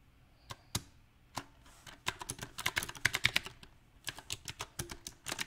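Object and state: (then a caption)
Mechanical keyboard with round plastic keycaps. A compact backlit mechanical keyboard with round plastic typewriter-style keycaps is typed on slowly with the fingertips. Uneven key taps come sparse at first, then in quicker bursts. Each tap is a short, bright click that stops almost instantly, with little low end.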